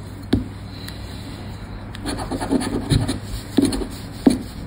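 A round red plastic scratcher disc's edge scrapes the coated play area of a thin, credit-card-sized Sorte Neon paper lottery scratch card, held down by fingertips on black cloth. Short, dry scratching strokes come in uneven bursts: a sharp scrape near the start, a rougher stretch of rubbing in the middle, and two more distinct scrapes near the end.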